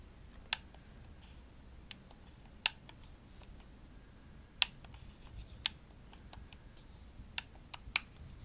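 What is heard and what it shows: Long nails tap the shell of a hollow, pink glossy plastic Xbox controller. Eight sharp, bright clicks are heard at uneven intervals, each with no ring, over a quiet background.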